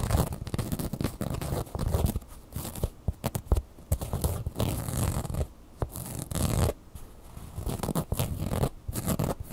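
Long fingernails scratch the fabric and felt eyebrow of a red plush bird toy, making dense, rapid scratching with a low, muffled rumble. The scrapes come in bursts with short quiet gaps between them.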